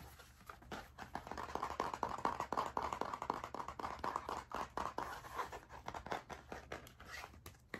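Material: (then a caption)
Cardboard. Fingertips tap and scratch the cardboard cover of a blue spiral-bound hardcover notebook with a metal spiral binding as it is held up and turned. A rapid, dense stream of dry, short taps and scratchy rubs is heard, centered in the midrange with little low end. Each tap dies away almost at once.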